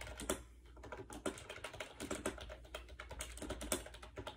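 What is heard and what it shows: Fast fingertip typing on a compact gray plastic AJAZZ 308i wireless Bluetooth keyboard with round white keycaps, resting on a bed. The hollow plastic keys give quick, dry clicks and clacks with bright tops, over a faint steady low hum.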